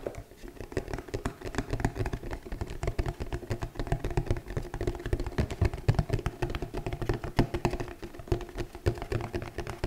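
A flat, hollow red glitter cardboard gift box, held in both hands, is tapped rapidly with the long nails of both hands. The result is a fast, uneven patter of short, dry clicks over a low, hollow, boxy thump that dies away almost instantly.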